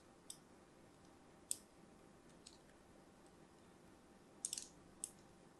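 A thin metal blade scores crosshatch lines into the surface of a hand-held, orange and white striped solid soap bar. Short, bright, crisp scraping clicks ring out one at a time over a faint low hiss, with a quick burst of several close together near the end.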